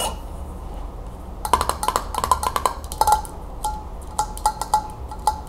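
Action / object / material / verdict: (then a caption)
tap / metal screw-band lid on a glass jar / metal / none. Long acrylic nail tips tap the top of a metal screw-band lid closed on an empty glass mason jar. After a brief quiet stretch, they make quick, bright clicks with a short metallic ring near 1 kHz. The taps come in a fast cluster, then spaced single taps over a low steady hum.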